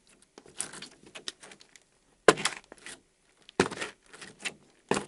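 A small, soft mound of translucent yellow Daiso gel slime on a white table is lifted, folded and scraped with a thin pink plastic scraper card while the fingertips of the other hand pinch it. The result is a run of wet, crackly squishes and scrapes with bright, sticky popping, broken by three sharper, louder bursts.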